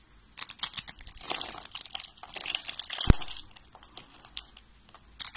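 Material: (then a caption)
Soap. Fingers with red nails snap and crumble white curved strips of dry soap and an orange rolled soap rose. Bright, dry crunching and crinkling comes in dense bursts, with one sharp snap near the middle. Quieter crumbling crackles follow.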